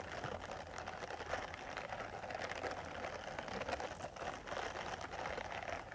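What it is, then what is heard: Silicone face cleansing brush. Long metal nail tips scratch across the bristles of a small purple silicone face cleansing brush pad. The result is a continuous, quiet, crackly rasping with a midrange tone and bright scratchy flecks. The level stays fairly steady throughout, with a few slightly louder strokes.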